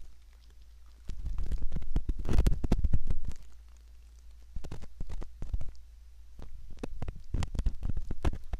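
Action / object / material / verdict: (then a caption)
scrape / silicone ear model scraped with a metal ear pick / silicone / none. A curved metal ear pick scrapes repeatedly inside the concha near the canal of a soft silicone ear, likely the ear of a binaural microphone. Close, muffled scratching and rustling bursts come in uneven clusters over a steady low hum, starting quiet and swelling into two louder stretches.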